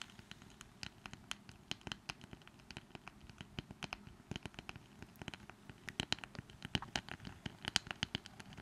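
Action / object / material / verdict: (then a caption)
tap / small wooden brush with handle / wood / none. Long nails scratch and tap the wooden surface of a small, light wooden brush with a flat wooden handle. A quiet, rapid run of dry, bright clicks and scratches rings around 3 kHz and stops instantly, with no ring. It grows slightly louder toward the end.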